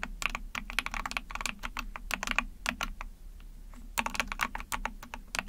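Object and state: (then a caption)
Plastic mechanical keyboard. Long painted nails and fingertips type rapidly on an Epomaker TH40, a small backlit 44-key mechanical keyboard with an ABS plastic case, PC plate and pink and white keycaps. Quick, sharp plastic clicks and clacks centered around 2.5 kHz, with bright edges, come in bursts over a soft low hum. The typing pauses briefly in the middle, then picks up again.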